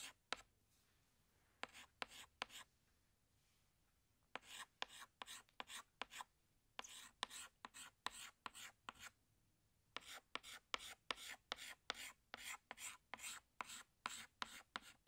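A hand scratches a green chalk stick across a large, flat black chalkboard while drawing, making quiet, bright, scratchy strokes. About 34 short strokes come in clustered bursts, separated by brief pauses of near silence.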